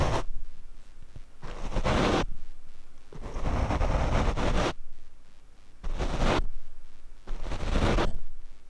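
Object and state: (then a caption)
Foam microphone windscreen brushed. A paint brush is swept across the black foam windscreen of a Rode microphone in five separate strokes. Each stroke makes a close, heavy rumbling scrape with a dense, bassy whoosh and a faint bright hiss. The strokes are separated by short, quieter pauses.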